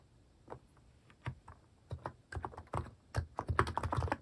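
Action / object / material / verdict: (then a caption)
tap / plastic mechanical keyboard / plastic / none. Fingertips type slowly on a compact mechanical keyboard with a white plastic case and cat-themed plastic keycaps. About fourteen short, dry key taps land at an uneven pace, sparse at first and then quicker and louder toward the end. Each tap has a low, muffled thock with a brief click on top and no ring.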